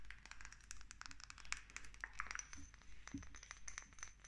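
Long nails tap quickly on a small dark amber glass dropper bottle with a green paper label and its black dropper cap. The result is a rapid, uneven run of short, bright glassy clicks and taps with very little ring, over a low background rumble.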